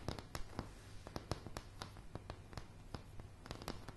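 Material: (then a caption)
Wood. Long polished nails tap and scratch on solid, light pine floorboards, picked up close to the surface. About 17 sharp, dry clicks sound over a low, soft scratching bed, each dying out almost at once.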